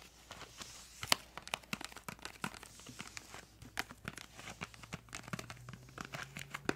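A small, hollow, printed yellow-green cardboard crayon box is held up in both hands and tapped and scratched with long acrylic nails. Quick, dry clicks and taps mix with light scratching and crinkly rasps. The sound is bright and close, and there is almost no ring after each hit.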